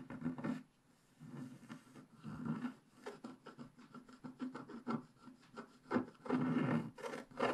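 A wooden stick scratches tail hair lines into a black-coated scratch-art paper page held flat by hand. The result is a series of short, dry scraping strokes, some quick and some drawn out, with brief pauses between them.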